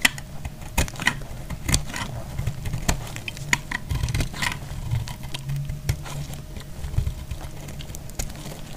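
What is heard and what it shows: A hand-held solid bar of dried white soap is cut and scraped with a box-cutter blade, shaving off curls. Crisp, dry scraping and sharp clicking snaps come in irregular bursts over a steady low hum, each cut ending abruptly with almost no ring.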